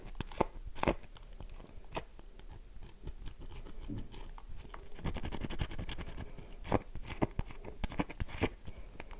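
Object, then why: Bar of soap. A solid, dry light-blue bar of soap held in the hand is scratched with long nails, scattering shavings. Dry, crunchy scratches and quick tapping clicks come in dense bursts, some sharper and brighter. Each click stops almost at once in a close, quiet space.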